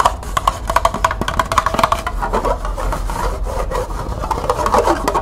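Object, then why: Small plastic cup with ridged sides. Long nails scratch and rub along the ridged side of a small, hollow, empty green plastic cup held in the hands. The result is a quick series of dry, clicky scrapes centered around 1.1 kHz that blurs into a denser, continuous rasping.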